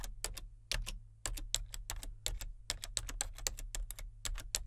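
Fingertips type on the main keys and number pad of a solid, full-size plastic membrane computer keyboard with a colour-changing backlight. The result is a quick, irregular run of short, bright plastic clicks with almost no ring, over a steady low hum.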